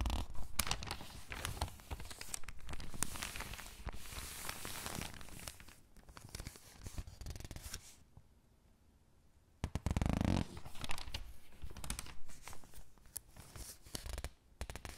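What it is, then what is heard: Thin paper catalog pages crinkling. Long-nailed fingertips turn the crinkly pages of an open thin paper catalog, then press and squeeze them flat. Dense crinkling and papery rustles fill the clip, with a brief quiet pause near the middle before a louder burst of crumpling.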